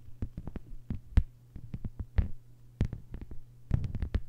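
Long white-polished nails on both hands tap a thin, solid, flat lime-green plastic cutting mat lying on a table. The result is a quick, irregular flurry of short, dry clicks with almost no ring, over a steady low hum.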